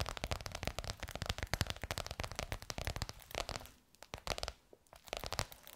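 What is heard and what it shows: Long nails rapidly tap and scratch a bronze-gold crocodile-embossed faux leather cover stretched over a curved hollow form. The result is a dense run of short, dry clicks with a low hollow thump and a bright scratchy crackle. The tapping briefly thins out and quiets near the end before picking up again.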